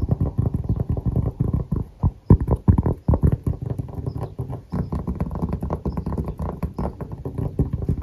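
Fingertips and short nails tap and scratch the face and edge of a round, thin, solid cork coaster, held flat and then upright. Rapid, dense, muffled taps and soft scratching sound dull and low, with no ring. A few louder, sharper knocks stand out partway through.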